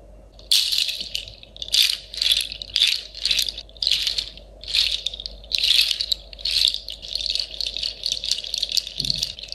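A pair of hand-held shakers made of clusters of small, hollow, dried pale seed-pod or nut shells strung on woven fiber handles is shaken in both hands over a sleeping Shiba puppy. The shells knock together in a dry, clattery, bright rattle that comes in a steady run of short bursts with brief pauses between them, over a faint low hum.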